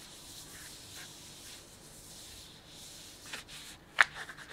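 Fingers crinkle and rub the edge of a printed plastic bag filled with sunflower seeds. Soft, airy rustling and rubbing build to louder crinkles, with two sharp, bright crackles near the end.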